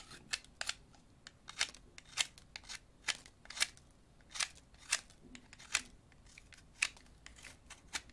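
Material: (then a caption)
Wood. A thin, solid yellow wooden pencil is shaved with an orange-handled utility knife blade over a napkin covered in shavings. Short whittling cuts come in a steady, uneven series throughout, each a crisp, bright scrape that stops almost instantly. Between cuts there is only a faint low background.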